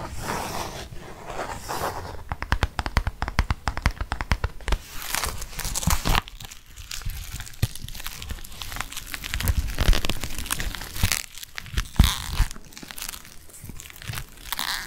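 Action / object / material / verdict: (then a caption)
scrape / leather bifold wallet / leather / none. Fingernails scratch the leather of a black leather bifold wallet, opened to show the card slots. Dense, rapid scratching and crinkling strokes run throughout, with short dry taps and brief quieter pauses around the middle.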